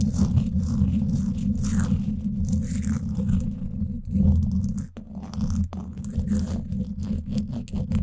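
Two thin wooden sticks scratch both sides of the woven steel mesh grille on the hollow dome of a Blue Yeti microphone. The result is a dense, continuous scratching and rubbing with a heavy, boomy low rumble and faint bright rasp on top. The sound dips briefly near the five-second mark before the scraping picks up again.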